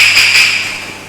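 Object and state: Nothing is struck.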